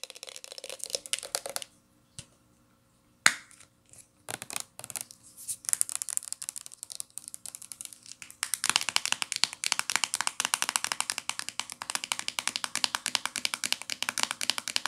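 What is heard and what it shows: Long nails tap the body and flip cap of a hollow, medium-sized teal plastic L'Oreal shampoo bottle, making bright, clicky taps with almost no low end. Early bursts of tapping are broken by short gaps and one sharp, louder click, and from about the middle of the clip the taps turn into a fast, steady patter of dry ticks that die away almost instantly.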